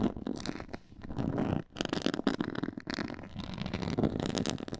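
Long nails and fingertips scratch across a black pyramid-textured faux leather board. The result is a dense, raspy scraping with a soft, low rumbling body, running almost continuously with brief dips in level before picking back up.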